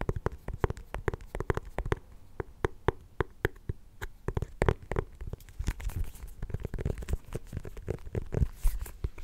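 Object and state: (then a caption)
Small pumpkin. Fingernails tap and scratch the ribbed rind of a small, solid orange mini pumpkin held up to the microphone. Quick, dull, low-pitched taps fall in an uneven stream and die away almost instantly. Soft, brighter scratching over the ridges builds in the second half.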